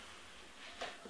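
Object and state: Nothing is struck.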